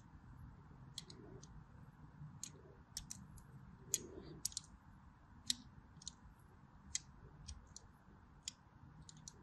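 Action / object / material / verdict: scrape / bar of soap / soap / none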